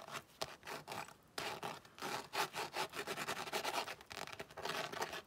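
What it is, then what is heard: Tooled leather zip wallet being scratched. A tan floral-embossed tooled leather zip-around wallet lying flat is rubbed and scratched with long nails. The result is a rapid series of dry, bright scratching strokes with almost no low end, pausing briefly just after the first second before resuming steadily.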